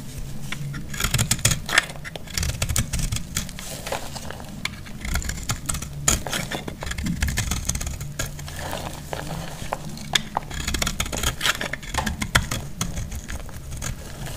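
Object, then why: Bar of soap. A metal utility blade cuts and scrapes a solid, pale yellow bar of dry soap, and shavings crumble off. Dense, crisp scraping and crackling ticks with bright edges run throughout over a steady low rumble.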